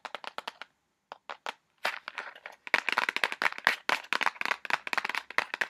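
Fingernails tap and scratch quickly on a small, hollow white cardboard box with red print. About thirty short, dry, bright clicks ring only briefly and have almost no low end, with a brief pause early on and a rougher scratching stretch in the middle. The tapping then returns faster and louder, in dense uneven bursts.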